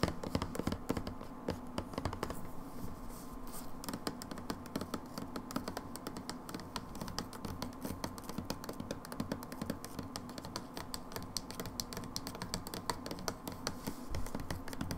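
A plastic hand wash bottle is held on its side while long nails tap and scratch across its label surface. Quick, dense clicking taps mix with papery scratching at a steady, quiet level throughout, with a dull hollow body to each tap.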